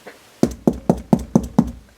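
Six evenly spaced knocks on an interior wall of a prefabricated, factory-built house give short, dull, hollow thuds centered low around 200 Hz with almost no ring. The wall sounds like cardboard rather than a solid wall, so heavy items can only be hung at the edge where ceiling meets wall, where there are solid wooden layers.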